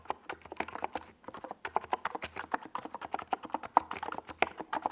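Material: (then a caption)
Plastic. Fingertips of both hands type fast across a compact 68-key NiZ Plum Atom 68 plastic mechanical keyboard with a white plastic case and purple and yellow Domikey Gas Attack SA plastic keycaps, resting on a desk pad. A rapid stream of short, dry, mid-pitched clacks comes with a brief pause near the one-second mark before the typing resumes steadily.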